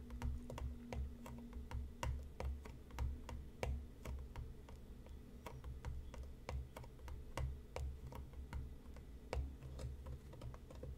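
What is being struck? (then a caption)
Cardboard tea box. Fingertips and nails tap quickly and irregularly on the top and front of a hollow printed cardboard tea box resting on a cutting mat, using both hands. The taps are sharp, short, dry clicks over a steady low hum. Each tap fades quickly.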